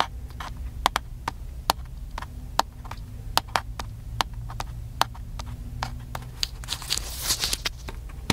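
Fingertips tap and scratch the side and lens area of a small black handheld plastic camcorder. Sharp, dry plastic clicks land in an uneven rhythm over a steady low hum, each dying away almost instantly. A brighter, scratchy rustle swells near the end.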